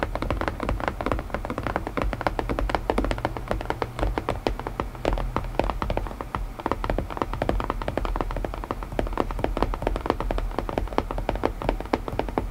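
Fingertips tap rapidly and continuously on a wooden puzzle box, producing short, dry knocks with a warm, woody tone. The taps come in dense, uneven flurries over a steady low rumble.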